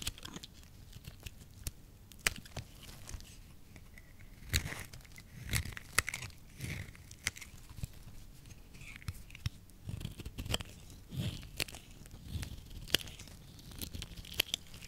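A solid, hand-sized pale yellow soap bar held in the palm is shaved into thin curls with a small utility blade. Each stroke gives a dry, crisp scraping and cutting sound with bright, crackly edges and a soft low thud. The strokes come in a steady, irregular series of short, sharp bursts with almost no ring.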